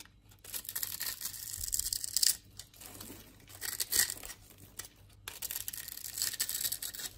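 A utility knife blade scrapes and cuts shavings across the patterned surface of a solid green bar of soap held in the hand. The result is a run of bright, crisp, tearing-like scrapes in uneven bursts, with a few louder strokes and little low end.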